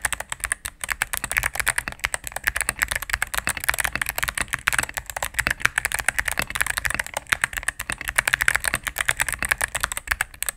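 Fingertips and medium-length nails type rapidly on a solid cream full-size mechanical keyboard with plastic keycaps on a plastic case. The result is a steady, dense stream of short, crisp clacks with a bright, clicky top and almost no low-end thud, each press dying away instantly.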